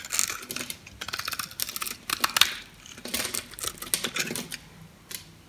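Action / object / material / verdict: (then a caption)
scrape / soap bar cut with a metal knife / soap / none. A metal utility knife carves the scored surface of a solid yellow bar of soap held in the hand, flaking off small cubes and slivers. Crisp, bright scraping and cutting crackles come in quick bursts with brief pauses between strokes, with almost no low end.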